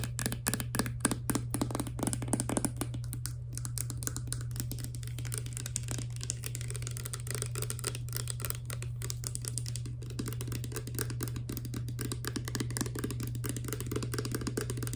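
Long nails tap rapidly on a partly filled clear plastic hair serum pump bottle with a green pump head, striking both the pump cap and the bottle body. The result is a dense, continuous stream of short, crisp plastic clicks and ticks over a steady low hum.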